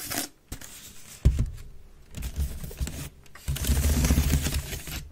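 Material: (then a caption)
Wicker. Long red nails scratch quickly across the weave of a grey woven wicker waste bin lying hollow and empty on its side. The result is bursts of dry, rasping scrapes over a low, hollow rumble, with a few sharper knocks and brief pauses between strokes.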